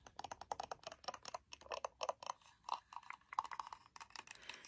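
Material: Painted wood.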